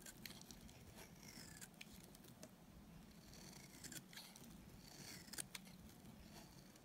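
A small, solid, rounded bar of dry white soap is held in the hand and carved along its edge with a utility knife blade, with dry crumbly shavings falling off. Quiet, steady scraping and cutting is heard as a soft hiss, broken by short, bright, crisp snicks as the blade bites into the soap. A low, faint rumble sits underneath throughout.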